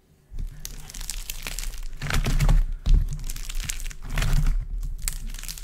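Both hands squeeze, knead and crush a large, solid, multicoloured heap of dried modelling clay with a cracked dry skin, using palms and fingers. Dense, irregular crackling and crunching runs throughout, with a low, dull body and bright crisp snaps. The sound swells into louder bursts of cracking as the clay skin breaks apart under the pressure.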